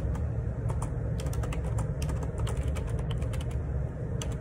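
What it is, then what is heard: Plastic keyboard being typed on. Fingertips type fast on the plastic keycaps of a black Perixx Periboard 612 wireless Bluetooth dual ergonomic split keyboard resting on a grey table. The result is a dense, steady run of crisp key taps with bright clicky edges over a constant low rumble.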